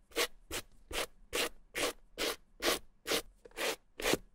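A white plastic suede brush with stiff bristles and a green handle is stroked over the nap of a small, hollow, dry red suede Gucci bamboo-handle mini handbag. Ten separate dry, bright, scratchy brushing strokes come at a steady pace of about two per second. Each stroke cuts off quickly with no ring between them.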